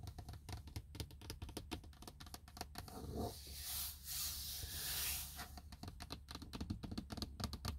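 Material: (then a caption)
Plastic. Fingertips and nails tap and scratch a large, textured plastic dashboard hood over a car's gauges, a hollow shell. Quick, dull clicking taps come first, then a long, airy scratching in the middle before the rapid tapping returns, all over a steady low rumble.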